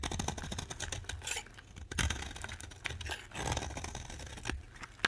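A box-cutter blade scrapes and carves the edge of a solid oval orange bar of dry soap. Dense, crisp scraping and crackling runs throughout, with bright, brittle flaking over a low rumble. Louder bursts stand out, ending with one sharp snap.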